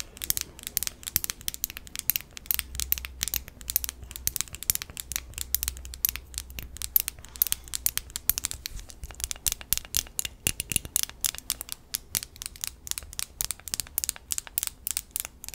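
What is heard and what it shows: A small pink glass facial ice globe filled with liquid and glitter is held close to the microphone and tapped and scratched with long acrylic nails. Rapid, dense, sharp clicks and bright scratching sounds repeat continuously, with a faint low hum underneath.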